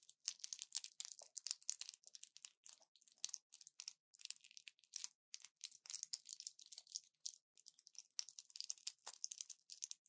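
A small orange plastic pill blister pack with foil backing is held in both hands and pressed and crinkled with fingertips and long nails. The result is quiet, dense, crisp crackling and snapping in rapid irregular bursts, entirely bright and high with no low end, each burst dying away almost instantly.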